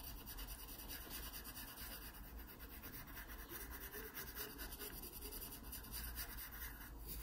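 A graphite pencil scratches and shades across the stem area of a drawing on an open paper sketchbook page. The result is a steady, soft, dry rasping and rubbing that continues throughout the clip, with a low rumble underneath and fine bright grit on top.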